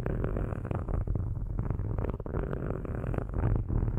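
Metal-tipped sticks scratch across the metal grille tops of two black cylindrical microphones. The result is a steady, dense, low rumbling scrape made of rapid overlapping strokes, centered around a deep hum near 94 Hz, with little energy in the high range.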